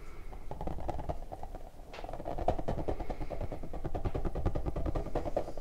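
An orange rubber puffer ball is squeezed and rubbed with both hands, its smooth stretched rubber bulging out into a bubble. The result is a dense, continuous run of quick rubbery squeaks and creaks over a low, muffled rumble, with little high content.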